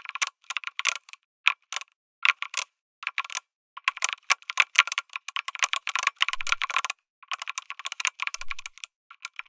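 Fingertips type on a lit mechanical keyboard with an aluminum case and plastic keycaps. Crisp, bright keystrokes come in quick bursts separated by short pauses, each clack dying out almost instantly. The sound centers around 2.3 kHz, with little low-end thump.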